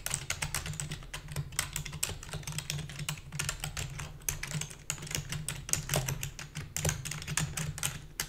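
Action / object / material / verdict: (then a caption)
tap / plastic computer keyboard / plastic / none. Fast typing on a full-size black plastic keyboard with a hollow body, struck with long fingernails and fingertips. A dense run of short, bright clicks and clacks dies away almost instantly over a steady low hum.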